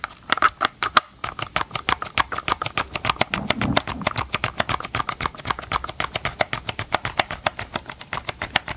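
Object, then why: Hard plastic chainsaw housing. Gloved fingertips tap and scratch the hollow hard plastic housing of a tilted Ryobi chainsaw close up. The result is a rapid, continuous run of short, dry, clicky taps with a hollow mid-range tone and bright edges, plus a brief softer scratchy rub partway through.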